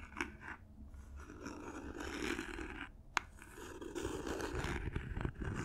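Long nails scratch and tap the sides and edges of a small, hollow cardboard gift box covered in silver paper as it is turned in the hands. Soft, papery scraping fills the clip, with a low rumble underneath and a few light taps, including one sharp click near the middle.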